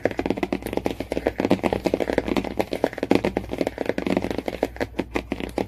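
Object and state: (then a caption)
Hardcover book cover. Fingernails rapidly tap the cardboard cover of a hardcover book, about 35 quick, dry taps in under six seconds. Each tap is short and muted, with a hollow low-mid body and almost no ring, over a faint steady low hum.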